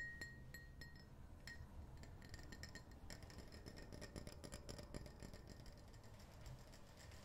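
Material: Glass.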